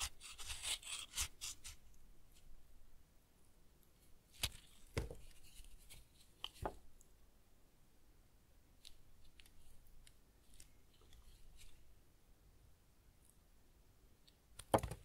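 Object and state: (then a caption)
Tar soap bar being shaved. A solid, semi-hard household tar soap bar, held in one hand, is shaved into thin ribbons with a white ceramic knife. Soft, bright scraping and cutting rasps fill the quiet clip, broken by a few sharp, dry snaps of the blade biting through. The busiest scraping comes at the start, lighter scrapes follow, and a final loud crisp cut lands near the end.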